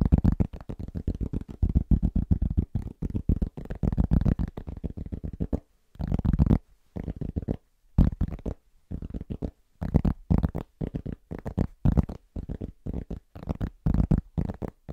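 Fingertips tap quickly and rhythmically on a large, thin, solid round cork trivet, with light nail scratching mixed in. The taps are dull, low thuds with almost no ring. They come in dense bursts with a few brief pauses.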